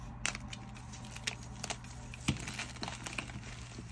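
Solid white reformed gym chalk blocks and crumbs, piled on a yellow surface, are squeezed and crushed in both bare hands with long nails. Soft crunches and sharp crackling snaps come through as the blocks crumble into powder. A steady low hum runs underneath.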